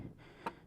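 A loose front fender bolt on a Yamaha Sniper 155, metal and plastic, gives a single short, sharp knock with a ringing tone near 920 Hz over a faint low rumble. This is the knocking heard over bumps and potholes, coming from the fender bolt rather than the front shock, and fitting a rubber at the bolt stopped it.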